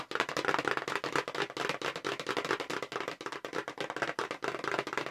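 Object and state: Cardboard box tapped with fingernails.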